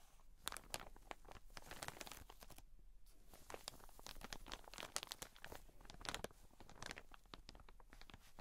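Long nails tap and scratch with both hands across the plastic wrap of a soft, full cotton wool pack. Dense, crinkly taps and crunchy scratches come in quick, bright bursts with barely any ring, pausing briefly near the three-second mark before continuing.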